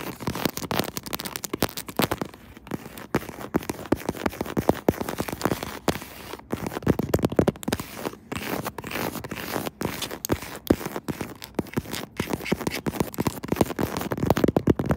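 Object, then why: Smartphone in faux-leather textured case. A smartphone in a pink faux-leather crocodile-textured, hollow-backed phone case, mounted on a tripod, is rapidly tapped and scratched on the case back with long acrylic nails using both hands. The result is a dense, steady stream of short, dry clicks and scratchy crackles with little ring, sitting mostly in the low mids with a faint hollow thump.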